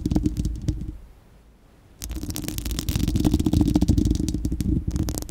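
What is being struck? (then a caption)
Steel wire-mesh microphone grille. Long acrylic nails on both hands scratch and tap the bare, hollow, fist-sized spherical steel wire-mesh grille of a microphone. Close, dense crackling scratches and rapid clicking taps carry a heavy low-end boom with a steady tone around 270 Hz. A burst of scratching fades to near silence for about a second, then resumes more continuously and builds until the end.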